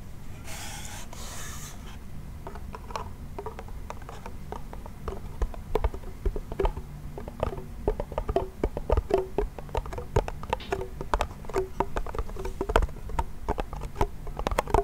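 A small, hollow wooden toy pellet drum with a white membrane is scratched and then tapped with fingernails. Two brief, bright scratching rubs come first, followed by a long run of quick, dry taps that each give a short hollow knock pitched around 400 Hz, over a steady low hum.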